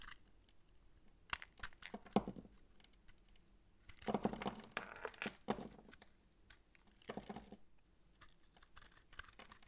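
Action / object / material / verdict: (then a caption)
scrape / massage soap bar / soap / none. A utility knife blade cuts the round bumps off a dry, solid purple massage soap bar with a rope loop, held in the hand, and scrapes off chunks. Crisp, dry crunching and scraping come in short bursts, with sharp snaps near the start and denser crackling clusters in the middle and toward the end. A faint low hum runs underneath.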